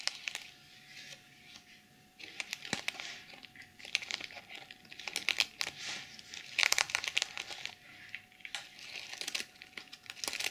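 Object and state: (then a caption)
Sequin fabric pouch. Long chrome nails tap and scratch the top of a small zippered pouch covered in pink plastic sequins. The result is a run of bright, crinkly rattling and scratching centered around 2 kHz, broken by many sharp clicks. Each sound dies almost instantly and there is no low end.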